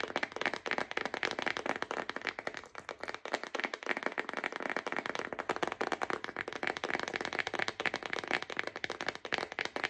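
A thick yellow-bordered paper envelope pack, held upright in both hands, is tapped and drummed on its front with long acrylic nails. Rapid, dry, papery clicks run continuously for the whole clip, with a crisp bright edge around 2 kHz and almost no low end.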